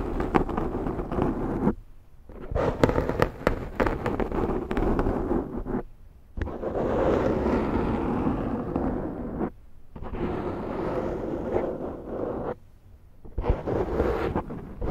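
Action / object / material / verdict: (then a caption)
scrape / foam microphone windscreen / foam / none. Long nails scratch the side edge of a large round black foam windscreen on a Zoom microphone. The result is dense, crackling, rough scratching in several long stretches separated by brief silences, with energy concentrated in the low and middle range.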